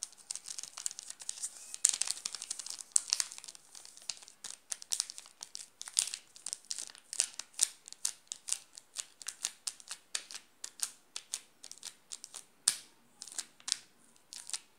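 A flat hand presses on a wrapped, solid Nestlé chocolate bar while the fingertips scratch and rub its plastic film wrapper, making it crinkle. Dense, bright crackles and sharp little snaps come in quick, uneven bursts with almost no low end. Each snap dies away almost instantly.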